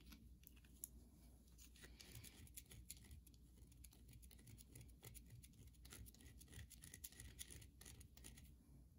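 Long nails scratch and tap the surface of a solid carved white soap bar held in the hand. The result is quiet, rapid, dense clicking and scraping with bright, sharp transients that fade almost instantly, over a steady low hum.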